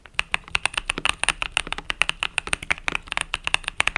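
A compact mechanical keyboard with cream and purple plastic keycaps, resting on a desk mat, is typed on rapidly with fingertips and long nails. Dense, uneven streams of short, bright clicky taps sound out, each one dry with almost no ring and little low end.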